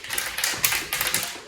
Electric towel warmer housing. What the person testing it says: there's something rattling around inside of here if you shake it